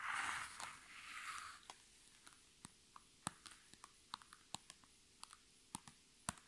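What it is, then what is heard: Thin plastic pouch. Long red nails scratch across a thin, iridescent holographic PVC pouch held in the hands, making a bright, hissy crinkling rustle for the first couple of seconds. Then they switch to sharp, quick taps on its surface, falling at an uneven pace. Each tap is a dry, bright click that dies away instantly, with quiet gaps between.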